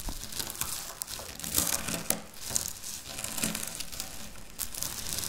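A pile of dry wafer biscuit crumbs is crushed and scratched with long natural nails on a stone surface. The result is a dense run of bright, crackly crunches and scrapes that cluster closely together, with no pauses between them.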